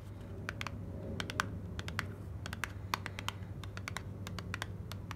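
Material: Paperboard.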